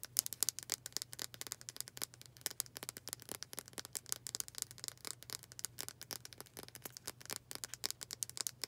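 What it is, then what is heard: Wooden hair brush. Long dark acrylic nails rapidly tap and scratch the solid wooden back of a hand-sized, dark brown wooden hair brush with black bristles. The result is a fast, continuous run of sharp, dry, bright clicks with almost no ring, over a faint, steady low hum.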